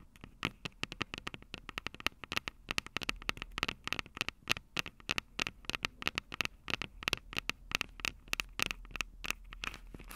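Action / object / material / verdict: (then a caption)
tap / handheld audio recorder, plastic body with metal mic grilles / plastic, metal / none. Long acrylic nails tap rapidly on the metal mic grilles over the capsules of a Tascam DR-05 handheld recorder with a plastic body. About fifty sharp, bright clicks land in uneven bursts, each peaking near 2.7 kHz and dying away almost instantly. A faint low hum sits underneath.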